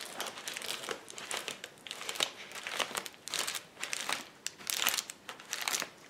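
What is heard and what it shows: A flat sheet of clear plastic bubble wrap on a table is pressed, pinched and popped with fists and fingers. It gives a continuous bright crinkling and crackling, broken by sharp popping bursts at an irregular pace. There is almost no low end.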